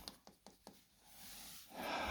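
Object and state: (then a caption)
Hollow plaster wall. Four quick knocks on a plaster wall beside a fireplace give short, hollow thuds that die away almost at once, showing the plaster is hollow at this spot too. A steady, bright hiss-like noise then rises and grows louder toward the end.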